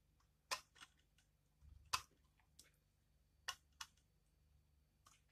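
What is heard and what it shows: A utility knife blade scrapes curls off the face of a thin, hand-sized, solid pale pink dried bar of soap held in the hand. It makes a series of short, crisp, bright crunching scrapes, spaced irregularly with quiet pauses between them. Each scrape cuts off sharply with almost no ring.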